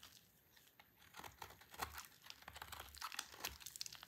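A solid, dry orange soap bar held in the hand is shaved into curls with a utility knife blade. The clip is full of quiet, dry, crinkly scraping and crunching, with bright edges. The short, brisk cuts come in quick succession and grow slightly louder toward the end.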